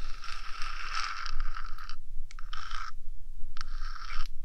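Long nails scratch and tap the top surface of a 3Dio binaural microphone's small, hollow, rectangular metal body. Three bursts of bright, raspy scratching come in bursts: a long one up front, then two shorter ones. Faint taps and a steady low rumble sit underneath.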